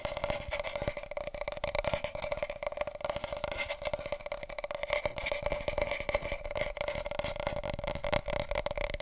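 Fingertips and nails tap and scratch quickly on a wide, hollow, empty large cardboard paper roll tube held diagonally. The result is a dense, steady stream of quick, dry taps and scratchy rustles with a hollow resonance around 590 Hz and a faint higher ring near 2 kHz. Each tap dies away almost at once.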